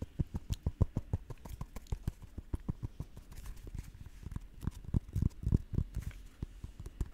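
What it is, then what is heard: Custard apple fruit. A whole green custard apple (sugar apple), fist-sized and solid with bumpy scaled skin, is tapped and scratched with long nails close to the microphone. Rapid, irregular dull thuds, about thirty in all, land at roughly three per second, deep and short with almost no ring. Faint scratchy rustling fills the gaps between taps.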